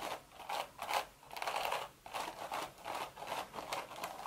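Long red nails scratch the woven crown of a cream straw hat with a hollow crown. Nine dry, raspy scratching strokes come in an uneven rhythm, with a papery crackle centered in the mids and a bright hiss on top. Each stroke stops quickly with almost no ring.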